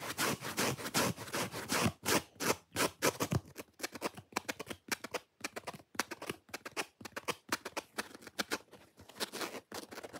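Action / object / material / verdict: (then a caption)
scrape / foam sponge / foam / none. Long fingernails scratch quickly across the red face of a solid, watermelon-shaped foam sponge with an attached white cord. The result is a rapid, irregular run of dry, bright scratching bursts that blur together at first, then break into shorter strokes with brief silent gaps.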